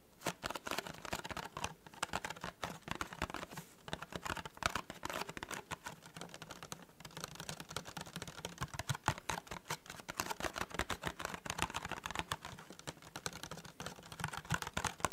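Fingertips and nails tap fast on the top and edges of a small, hollow, white printed cardboard tea gift box. The result is a steady, dense patter of dry, hollow clicks, centered in the midrange with bright ticks. Each tap dies away almost instantly.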